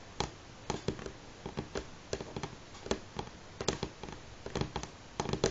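Both hands tap natural fingernails on a solid, light pine-grain wooden tabletop in a steady pattern. The clip is a string of short, dry clicks with a hollow mid-range knock and a bright edge, spread in uneven bursts over a quiet background.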